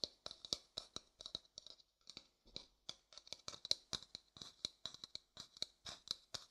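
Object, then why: Upturned wooden bowl. A light-colored hollow wooden bowl is held upside down while fingertips tap and scratch its outer surface. About 33 quick, quiet, bright clicks and scratches are heard in an irregular rhythm, each dying away almost instantly with very little low end.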